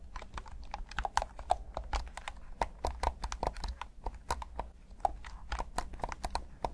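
Thumbs rapidly click the buttons and sticks of a hand-sized, hollow black plastic PS5 DualSense controller in Midnight Black. The result is a dense, irregular stream of short, dry plastic clicks and taps with a midrange knock and bright tips, over a low, steady rumble.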